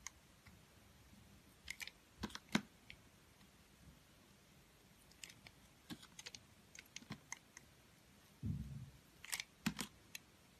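A metal utility-knife blade cuts and scrapes slices off the rim of a round, solid, multicolored soap bar with a confetti pattern, held in the palm by a hand with long pink nails. Quiet, crisp clicks and short scratchy scrapes come in scattered bursts, with a brief low scraping rasp near the end.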